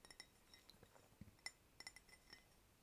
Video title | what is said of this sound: Cups & Mugs ASMR - Tapping - Clinking [Soft-spoken/whispering] | this is um fine bone china which would explain the slightly different sound it's it's it's thinner